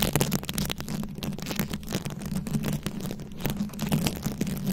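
Very long acrylic nails scratch a round, fist-sized microphone head covered in plastic rhinestones and beads. The result is a continuous, dense crackle of bright clicks and rasps over a steady low rumble, with no pauses.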